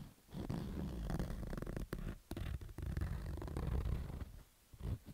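A fingertip scratches the fabric side of a black baseball cap with stitched fabric rows. The rough, rasping scrapes are heavy in low, rumbling tones, with short gaps between bursts of scratching.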